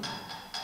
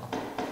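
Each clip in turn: First: ceramic object. Second: wooden lectern.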